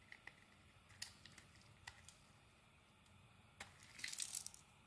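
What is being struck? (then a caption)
Bar of soap. A metal blade carves chips off a solid dark green bar of soap. Quiet, bright, crisp scraping clicks are spaced out at first, then come in a denser flurry of shaving crackles near the end.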